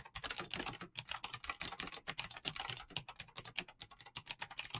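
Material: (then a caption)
Plastic. Both hands type fast with fingertips and short-to-medium nails on a mechanical keyboard with clicky switches and PBT plastic keycaps. The result is a dense, steady run of sharp, bright clacks with very short decay and little low end, centred around 2.5 kHz.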